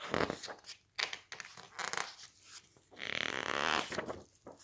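Fingertips rub, squeeze and flip the thick glossy pages of an open softcover book. Bright, papery crinkles and short rustling swishes come in quick bursts, followed by a longer, sustained rubbing swish near the end.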